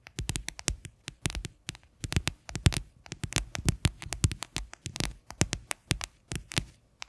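Long fingernails rapidly tap the base of an upside-down, hollow, white faceted plastic container. The taps come in quick clustered bursts of short, dry clicks with a hollow low thump under a bright edge, each dying away almost at once.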